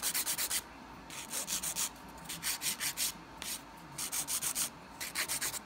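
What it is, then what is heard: Acrylic nail being filed. A dark grit emery board is rubbed back and forth across the solid surface of a long coffin-shape acrylic nail with a peach ombré finish on a hand, leaving visible filing dust. Short runs of quick, dry, bright scratchy strokes are broken by brief pauses, with almost no low end.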